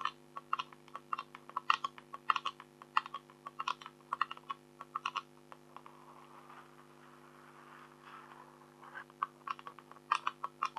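Long acrylic nails on both hands tap and click on the surface of an A4-size black scratch-art card with a silver tiger image, lying flat. Quick, dry clicks with a bright edge come in uneven bursts and stop almost instantly. Midway they give way to a few seconds of soft scraping before the tapping resumes, all over a faint steady low hum.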